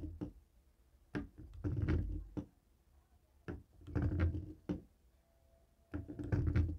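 A jade roller stone taps and rolls over the many rubber buttons of a longer dark grey plastic cable TV remote lying on a wooden table. Dull, low clicks and rolling rattles come in uneven bursts separated by short quiet gaps.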